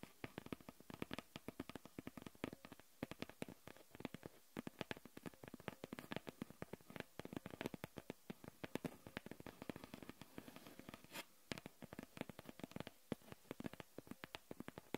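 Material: Cardboard.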